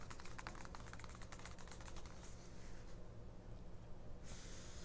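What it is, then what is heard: Paper booklet tapped with nails. Long nails quickly tap and scratch the right-hand glossy printed ad page of a small open 1999 paperback mini-booklet lying on a fabric cloth, staying on the same spread throughout. Rapid, crisp, dry taps come first, then give way to softer, continuous scratching hiss, with a brighter hiss returning near the end over a steady low hum.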